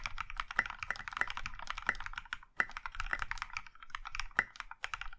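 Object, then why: Mechanical keyboard with plastic keycaps. A compact mechanical keyboard in a maroon metal case with dark grey and pink plastic keycaps is typed on with the fingertips of both hands. Quick, bright plastic clacks come in a steady stream, with a few louder, sharper keystrokes standing out and a brief pause near the middle. Each strike dies away almost at once.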